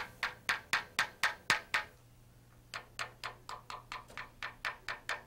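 A small metal tap tool held in the fingertips taps along a long, yellow-painted aluminum helicopter main rotor blade with a green stripe, a thin hollow-profile airfoil mounted on the aircraft and supported at its tip by a wooden stand, during a tap test. There are 18 sharp, bright, woody-sounding ticks centered near 1.8 kHz, each dying out quickly. Seven come in a steady run, then a short pause, then eleven more at a similar pace over a faint low hum.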